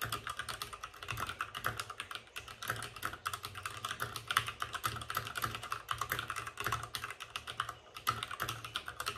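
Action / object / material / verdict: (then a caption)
tap / plastic mechanical keyboard / plastic / none. Fingertips of both hands type fast on a white RGB-backlit mechanical keyboard with plastic keycaps and a hollow plastic case. A steady stream of quick, bright, clacky keystrokes with a hollow tone around 1.3 kHz continues throughout, each click dying away almost instantly.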